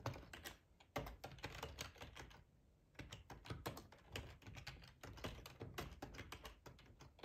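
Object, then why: Plastic computer keyboard. Fingertips type steadily on a hollow black plastic split ergonomic keyboard, tapping the keycaps. The result is a rapid stream of clacky taps with a hollow, low thudding body and a brief pause midway before typing resumes.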